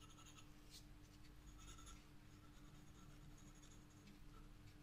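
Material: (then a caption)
Paper. A black graphite pencil held in the fingertips scratches and shades across a flat spiral-bound sketchbook page bearing a flower drawing. The quiet, continuous scratching carries brief bright strokes over a steady low hum throughout.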